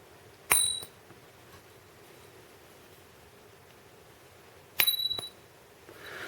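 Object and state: Fake gold bar (not solid gold).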